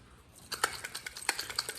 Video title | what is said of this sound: 2018 2019 2020 hyndia sonato starter diagnostic and replace step by step | If you hear a starter shake around and dust coming out of it like that one did, yeah, it's a bad starter.